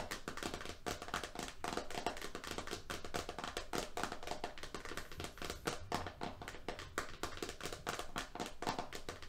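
A medium roll of FrogTape painter's tape with its printed label cover lies flat and is tapped quickly with the fingernails and fingertips of both hands. The result is a dense, continuous stream of short, dry clicks and soft thuds with a faint mid-pitched tone around 700 Hz and almost no ring.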